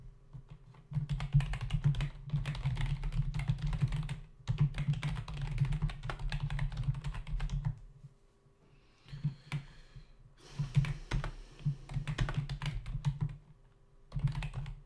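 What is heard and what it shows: Fingertips type on a full-size black plastic membrane keyboard with hollow keys resting on a dark desk, briefly with one hand only. Bursts of rapid, dry, hollow taps with a low, thumpy body and faint bright clicks are broken by short pauses, with a quieter, sparser stretch near the middle.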